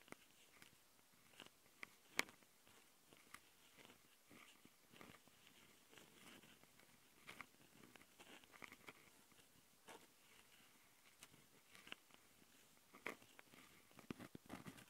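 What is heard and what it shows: Long nails on both hands scratch and tap the metal-mesh X/Y mic capsules of a small plastic Tascam handheld audio recorder. The result is quiet, close, bright scratchy rasps mixed with short crisp clicks, scattered irregularly over a soft hiss with almost no low end.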